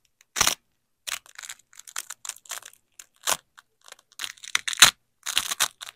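Black-gloved hands press a yellow nylon hook strip and a black nylon loop strip of hook-and-loop fastener together and rip them apart. The result is a series of short, bright, crunchy tearing bursts with silent gaps between them, many separate rips across the clip.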